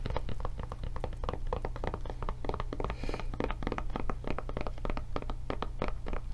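Long nails scratch and tap on a blue silicone rubber tablet case with its handle raised. They make a rapid, continuous run of short, dull thunks and taps with almost no ring. A steady low rumble sits underneath, and there is very little bright content.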